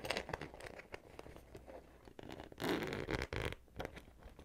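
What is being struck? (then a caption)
Small vinyl zipper pouch. Fingers with long nails pull the zipper of a small, hollow, pink glossy vinyl Hello Kitty cosmetic pouch open and closed along its top while the pouch is held in the hands. Short, irregular zipper rasps and crinkly scratches are followed by a louder, longer bright zip near the end, then softer ticks trail off.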